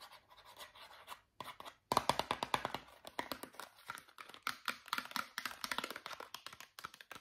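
Long fingernails scratch and tap a small white Meridol cardboard toothpaste box, hollow with a tube inside. Soft papery scratching opens the clip, then a rapid run of dozens of crisp, dry taps follows, each dying almost instantly with a light hollow ring around 1 kHz.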